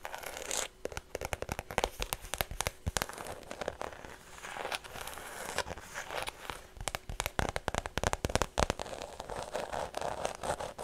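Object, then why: Small faux leather shoulder bag. Long nails tap and scratch over a small white structured faux leather shoulder bag with a red lining and a strap, its hollow body giving the hits a slight resonance. A dense run of sharp, dry clicks and taps that die away almost instantly rides over a crinkly scratching rustle that brightens into the highs.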